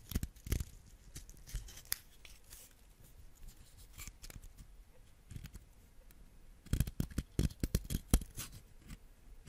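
A solid yellow wax crayon is shaved with a white ceramic knife blade, and the wax flakes pile up on the blade. Quiet, dry scraping and crisp ticking strokes come in scattered bursts, with a denser run of sharp scrapes near the end.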